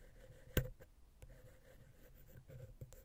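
A wooden ear pick slowly scratches between the small, hollow silver XY capsules of a Zoom H6 recorder, dragging across the metal mesh grille. Two taps stand out, a sharp one early and a softer one near the end, over a quiet, low, rumbling scrape with a faint steady hum.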